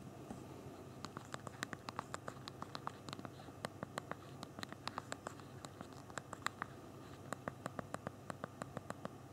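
Thumbs type on the physical plastic QWERTY keyboard of a small BlackBerry Q10 phone. A quick, irregular stream of short, sharp, bright key clicks sounds over a soft low background hiss, with no pauses beyond brief gaps between bursts of typing.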